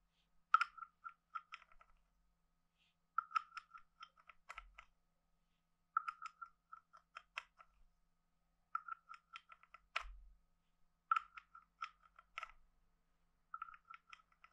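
A wooden stick is scraped across the ridged back of a hand-sized, hollow, carved wooden frog guiro. Six short bursts of quick, dry wooden clicks ring with a hollow, mid-pitched croaking tone, separated by pauses of silence.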